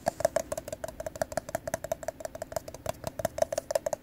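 A hollow, apparently empty teal plastic party cup is held in the hands and tapped and scratched with fingertips and nails on its glossy side. About 25 quick, light taps sound, each a short, hollow click with a faint ringing tone near 640 Hz that fades almost at once, mixed with soft scratching.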